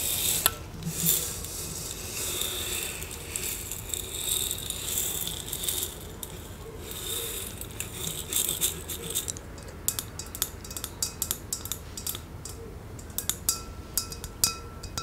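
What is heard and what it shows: A large, hollow, clear glass fishbowl vase with a layer of small blue beads at the bottom is held in both hands, tilted, and tapped and scratched with long nails. The first half is a bright, hissing rattle of beads sliding and scratching against the glass. It gives way to many sharp, short clicks of nail taps, with a faint thin glassy ring around 1.3 kHz.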